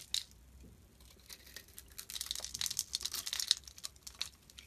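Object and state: Bar of soap being shaved.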